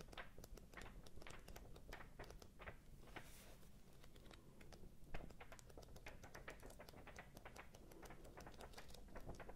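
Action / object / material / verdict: flick / paperback paper book / paper / none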